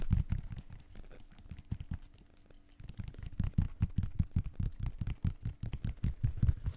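Fingertips scratch and tap the synthetic mesh upper and the rubber/foam sole of a blue and white athletic shoe with laces, hollow inside, held up close to the mic. The result is a rapid, uneven stream of soft, deep thumps with faint scratchy texture, dipping into a quieter stretch of scratching midway before the taps pick up again.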